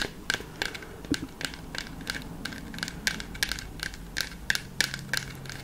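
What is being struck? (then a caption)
Plywood balance board. Long fake nails scratch and rub across the flat wooden face of a large round plywood balance board with a black plastic dome in the centre, held upright. Quick, irregular dry scrapes and clicky ticks repeat over a low steady background hum, each short and bright with no ring.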